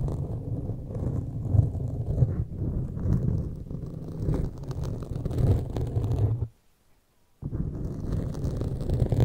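Pointed metal claw fingertip extensions scratch a black foam windscreen on a large microphone from both sides. The result is a dense, muffled, low rumbling scrape with almost no bright content. It runs continuously, stops in near silence for about a second, then resumes.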